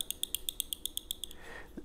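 The pocket clip of a CKF Fif20 titanium folding knife taps against the titanium handle eleven times in a quick, steady rhythm, each tap a short, bright metallic tick around 3.3 kHz with almost no ring. A soft, low thud follows at the end. The tapping is a minor annoyance, not a big deal.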